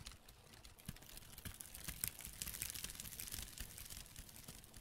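Black-gloved fingertips crinkle, scratch and rub a hand-sized piece of light brown, rough, flaky dried tree bark, possibly cork bark, that looks solid and layered and is held close to the microphone. The result is a soft, steady stream of dry crackles, small ticks and scratchy rustling. It has a bright, crisp top and light low thumps from the handling.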